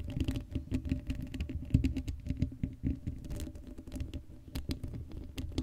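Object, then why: Metal mesh microphone grille. Long blue acrylic nails on both hands scratch across the hollow black woven metal mesh grille of a Blue Yeti microphone head with no foam cover. The result is a dense, rapid patter of short scratchy taps and rasps with a heavy, boomy low end and only brief bright ticks on top.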